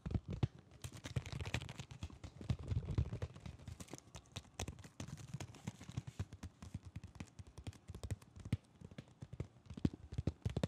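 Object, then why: Cardboard and plastic blister package. A Digimon blister toy package, a cardboard card with a plastic bubble, is held up and turned while fingertips tap the card face and edge. The result is a rapid, irregular run of soft, dull taps with a low, thumpy body and a very quick decay, plus faint crinkly handling in between.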